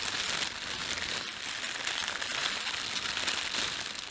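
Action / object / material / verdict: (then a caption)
scrape / thin plastic bread bag / plastic film / none. Fingertips rub and crumple the film of an empty, thin, red printed plastic bread bag. A steady, dense crinkling rustle fills the whole clip, bright and hissy with almost no low end.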